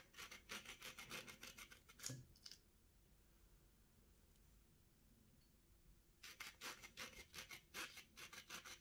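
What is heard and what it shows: A small steel kitchen knife scrapes along the thick rind of a hand-held orange with its top cut off, in repeated peeling strokes over a plate. Quick, bright, rasping scrapes come in a rapid run, then there's a quiet pause of a few seconds, and the strokes start again.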